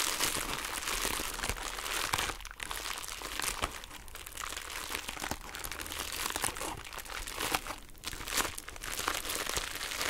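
A small, flat, pink heart-shaped plastic bubble wrap pouch is held in both hands and scratched and squeezed with long nails. It gives a steady, bright crinkling with dense, sharp crackles and scratches throughout.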